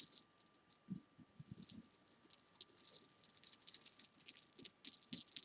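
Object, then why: Small jelly bean candies on fabric. Small solid jelly bean candies resting on fabric are picked at and moved around with long nails, making a quiet run of quick, bright rattles and taps. The clicks are sharp and dry with almost no ring, clustering into busier bursts toward the end.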